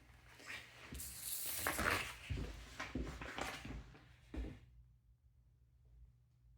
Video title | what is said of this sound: 2413 Pine St - Part 1 | So knocking on this wall here, it definitely sounds hollow to me.